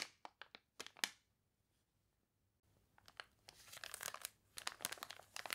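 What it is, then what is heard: Water-wrinkled paper catalog, crinkly pages. Long dark-painted nails and fingertips scratch, rub and press the crinkly, water-wavy pages of a large open glossy paper toy catalog lying flat on a polka-dot tablecloth, with page turns. Six sharp, bright crinkles open the clip, followed by a short near-silent pause. Then a denser stretch of crisp crunching and crinkling builds, dominated by high, dry rustle with almost no low end.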